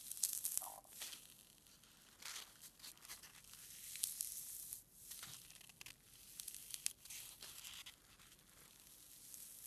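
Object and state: Foam packing peanut.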